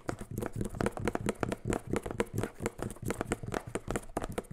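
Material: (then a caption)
Plastic. Fingertips and rings tap the body of a clear plastic spray bottle with a white trigger head, hollow and mostly empty, held close to the mic. The result is a quick, continuous run of short, dry taps, hollow low thuds mixed with brighter clicks, each dying almost instantly.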